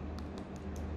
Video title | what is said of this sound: Xiaomi Redmi Note 10 5G - Unboxing & First Impression! Most Affordable 5G Phone In Malaysia! RM799! | But even though it's plastic, it's very solid when you tap it. There's no hollow feel at all.